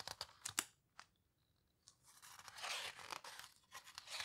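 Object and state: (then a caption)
Heavy paper book pages. Long-nailed fingers rub and squeeze the edges of the heavy, coarse paper pages of a large open photo book, a paper houseboat book, then turn its pages. Sharp, bright nail ticks and scrapes come first, followed by a near-silent pause with faint high tones. A rising, hissing rustle of paper then swells and fades as the pages turn, all at a quiet level.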